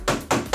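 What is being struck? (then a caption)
Steel fire extinguisher cylinder. Three quick, dull knocks on the steel cylinder of a large dry chemical powder fire extinguisher, each a short, dry thud that dies away almost at once. There is no bell-like ring as a water unit would give, which marks it as a powder extinguisher.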